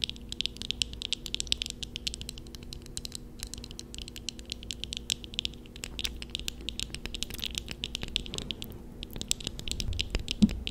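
Long fingernails on both hands tap quickly on eyeglasses worn on the face, which have a black plastic upper frame with thin metal rims and lenses. The result is a dense, rapid patter of short, bright plastic-and-glass clicks, like fast typing, over a faint steady low hum.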